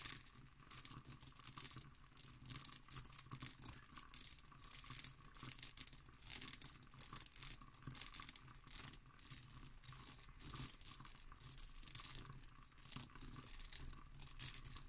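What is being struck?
Empty cut glass decanter.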